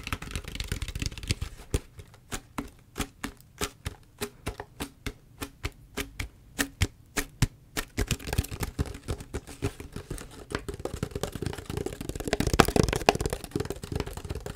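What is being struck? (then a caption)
Plastic drink bottle. Long fingernails tap and scratch the label and body of a large, clear PET Ito En drink bottle that looks empty. Brief scratching gives way to a steady run of short, crisp, hollow taps. Dense, rustling scratches with bright clicks then return to the end.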